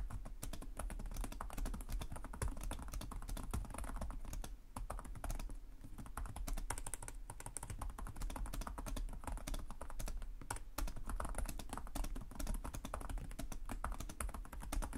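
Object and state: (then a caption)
Plastic laptop keyboard being typed on. Both hands type rapidly with short-nailed fingertips on the plastic chiclet keys of a black laptop resting on a desk. A steady stream of quick, dry key taps clatters continuously over a low, constant hum for the whole clip.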